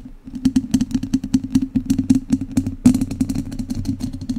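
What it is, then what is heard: Metal mesh microphone grille scratched with chopsticks. The tips of two wooden chopsticks scratch directly across the hollow, dome-shaped metal wire-mesh grille of a large studio microphone. A rapid series of short, dry scratching clicks, like typing, each carries a hollow resonant tone around 250 Hz. The sharpest stroke comes near the three-second mark, and the scratching continues steadily to the end.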